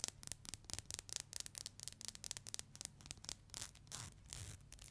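Long nails strum the teeth of a thin, solid black plastic hair comb, making a quick run of sharp, bright ticking scratches. Toward the end the ticks blur into smoother, longer rasping scrapes, with a faint low hum underneath.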